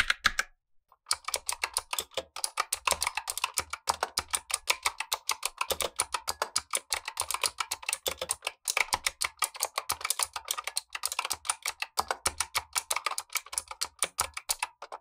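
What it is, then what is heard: Plastic mechanical keyboard with clicky switches. Gloved fingertips type with both hands on a black tenkeyless Razer Huntsman V2 mechanical keyboard with clicky switches, plastic keycaps and a hollow plastic case. A rapid, steady stream of sharp, bright clicks carries a hollow plastic clack, and each keystroke dies away almost instantly.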